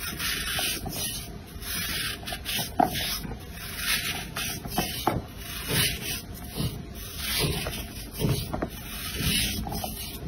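A round, solid, pale blue bar of soap with a green glitter layer inside is held in one hand and scraped and shaved with an orange-handled blade, leaving blue flakes. Repeated dry, rasping strokes sound as bright, hissy scrapes, each with a soft, dull scratch underneath.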